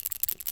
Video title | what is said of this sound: FINAL SEPHORA SPRING SALE HAUL 2026: I Went Back One Last Time! | There's like a shaker ball in there to mix it up, a mixer ball.